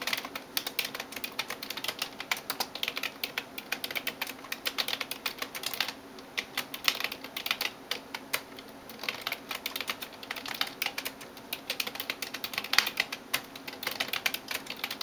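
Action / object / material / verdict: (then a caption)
tap / plastic computer keyboard keys / plastic / none. A hand types rapidly on a backlit plastic computer keyboard with fingertips and nails, producing a dense stream of short, bright clicking taps. The taps pause briefly around the six- and nine-second marks before continuing, with no low-end thump and almost no ring after each tap.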